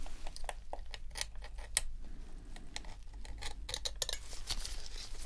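A metal dental pick scratches and scrapes along the shell seam and grip of a dirty white plastic PS4 controller, a hollow, hand-sized shell held in a gloved hand during a deep clean. The result is a quick series of sharp, bright ticks and scraping clicks over a steady low hum.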